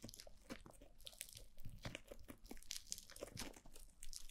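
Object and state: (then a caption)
Foam bead slime (floam). White foam-bead slime is pressed and kneaded by fingertips with long blue nails against a black glossy mannequin-head microphone. A dense run of close, crunchy crackles and soft squishing pops comes as the bead-filled mass is squeezed, with bright, quick clicks over a low, muffled rumble.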